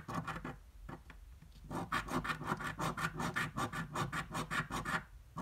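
A flat paper scratch-off lottery ticket lying on a dark table is held with one hand while the edge of a metal half-dollar coin scratches off its latex coating. A few scattered scrapes give way to a quick, steady run of short, bright, rasping strokes, then the sound quiets at the end.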